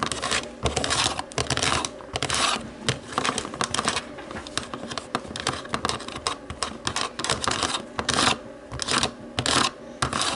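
Long nails tap and scratch the white buttons of a black plastic TV remote. The result is a dense, irregular run of quick, bright clicks and rasping scrapes with very short decay and little low end.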